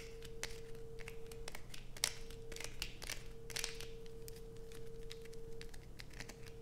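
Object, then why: Bar of soap. A solid blue bar of soap with deep grooves, held in hands, is scraped with long pointed acrylic nails. Dense, bright scratching and crinkly clicks come in rapid bursts over a steady faint tone and low background rumble.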